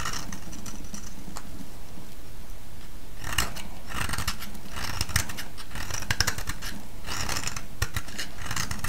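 A solid, oval, pale yellow round soap is held in the hand and shaved with a metal blade. Crisp, bright scraping bursts come in clusters over a steady low rumble, with the shavings rasping off the bar at an even level throughout.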